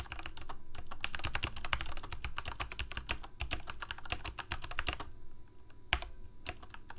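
A full-size black plastic Corsair mechanical keyboard with lit keycaps is typed on rapidly with the fingertips of both hands. Dense clicky key presses come in quick bursts with bright clacks and a low thock underneath, thinning out toward the end with a few isolated strikes.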